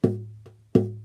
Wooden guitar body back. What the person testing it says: of course I've got, tape on there and stuff, but I mean, it rings